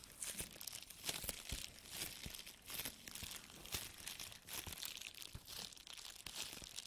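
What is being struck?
Small plastic bubble wrap pouch.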